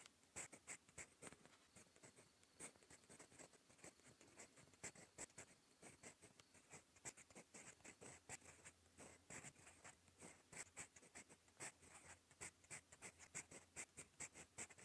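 A gold metal fountain pen nib scratches across a cream lined notebook page while writing. It makes a quiet, steady run of dry, bright scratches and short strokes. Many quick ticks stand out over a faint papery hiss.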